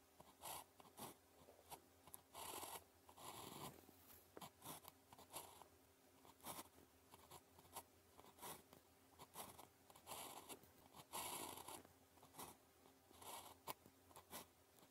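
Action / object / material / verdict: scrape / ballpoint pen on a paper sheet / paper / none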